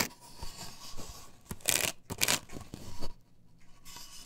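Long pointed nails scratch across a large, flat, solid white plastic stencil with a chevron cut-out pattern, glued to a wooden board. Soft rubbing and light taps are broken by two loud, bright, rasping strokes near the middle, then quieter scratching fades out.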